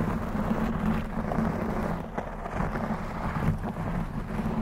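Long blue acrylic nails scratch and tap a black textured knit fabric cover stretched over a rounded microphone head. The result is a dense, muffled, low rumbling scrape with a steady hum-like low tone and soft thumps, with almost nothing bright on top.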